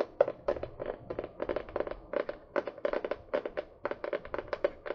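Long painted fingernails tap and scratch quickly on a small spiral-bound notebook with a printed paper or card cover, held upright close to the microphone. The sound is a rapid, irregular string of short, dry, papery clicks with a hollow midrange tone around 570 Hz and almost no ring after each hit.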